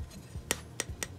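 A hockey trading card made of a thin sheet of metal, like a thick credit card with die-cut corners, is tapped four times. Each tap gives a short, bright metallic click that dies away almost at once.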